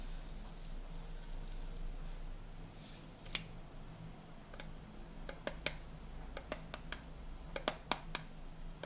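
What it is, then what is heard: Metal tea tin lid. Fingernails and fingertips tap the flat gold metal lid of a hollow blue tinplate tea canister, producing a scattered series of sharp, bright clicks that die away almost instantly. A steady low hum runs underneath the taps throughout.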